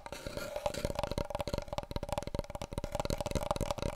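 Fingertips and long nails tap rapidly along a long, hollow, empty brown cardboard paper roll tube held horizontally. The result is a dense run of short, dry, hollow knocks with a steady mid-pitched resonance around 600 Hz and very little ring after each tap.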